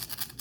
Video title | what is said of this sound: Attach your CPAP mask liner to your CPAP! -- 21APR2020 | Hear that rattle? So that's those screws shaking around.